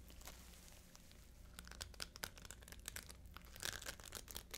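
Fingertips and long nails scratch and rub across the dense bead clusters of a small, hollow, flat multicolored beaded fabric handbag held in both hands. A soft, steady hiss of rubbing gives way after about a second and a half to a run of crisp, bright clicks and rattly crinkles. The clicks are busiest near the end.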